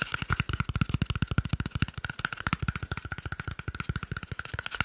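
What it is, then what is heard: Empty cardboard paper roll tube. An empty, hollow cardboard toilet paper tube is held in one hand and quickly tapped and scratched with the fingertips and nails of the other hand. Around forty rapid, dry hollow knocks follow one another with a low boomy thump and a steady resonant ring near 1.3 kHz. Faint bright scratchy hiss sits between the taps, and each hit dies away almost instantly.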